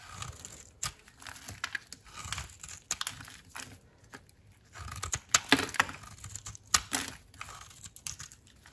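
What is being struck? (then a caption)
Soap bar cut with a metal blade. A metal utility knife blade shaves and cuts crunchy flakes off a round, solid pink bar of dry soap held in the palm. Dry, bright scraping and crackling strokes come in short bursts with quick, sharp clicks and almost no ring.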